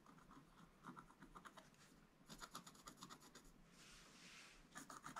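A wooden stylus scrapes the black coating off a flat scratch art page with a gold base underneath, in quick short strokes. Each stroke is a dry, bright, rasping scratch centered around 1.2 kHz, with a longer, smoother scrape near the four-second mark. A final cluster of crisp strokes closes the clip.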